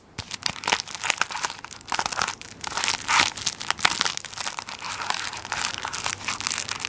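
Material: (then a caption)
Plastic film. A tissue paper roll wrapped in plastic film is held beside the mic while fingers press and crinkle the plastic wrap on its end. A steady stream of dense, crackly crinkles and sharp snaps is heard, bright and hissy with almost no low end. Louder bursts swell and fade throughout.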